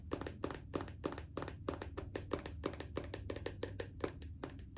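Rapid, irregular tapping on a bathroom lotion bottle produces short, dry clicks with almost no ring. The clicks carry a bright hollow tone around 390 Hz over a soft low rumble.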